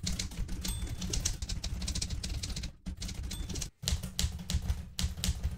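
Fingertips with red-painted nails type continuously on a blue metal portable manual typewriter with plastic keys, producing a rapid run of key and typebar clacks. The clatter has a heavy low thump beneath bright, crisp clicks, with two brief pauses near 2.8 and 3.8 seconds before the typing resumes.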